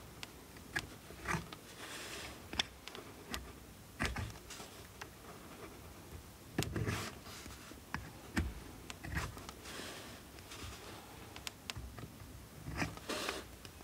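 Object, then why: Soap bar scraped by steel blade. A steel multitool knife blade scrapes and carves the surface of a solid blue oval bar of soap held in the hand. Repeated short, dry scraping strokes and crisp shaving sounds, with some soft low thuds, come through at a quiet level. Each stroke cuts off sharply with almost no ring.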